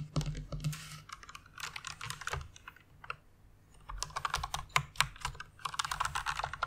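Fingertips with long nails type on the keys of a white plastic rainbow mechanical keyboard. Rapid, crisp plastic clacks come in irregular bursts, with bright click transients over a low thump, then a brief lull before a busier flurry of keystrokes. Each click stops almost instantly.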